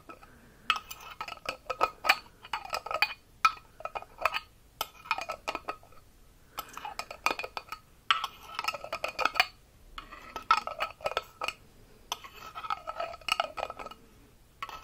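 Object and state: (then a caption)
Glass bottle with metal cap. A small, round, clear glass bottle with a silver metal screw cap, holding what appears to be clear liquid, is held in the hand while fingertips and nails tap and rub the cap and the glass. Bursts of quick, bright clicks and scratchy rubbing with a glassy ring come in several clusters, with short quiet gaps between them.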